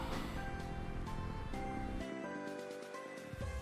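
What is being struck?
Nothing is struck.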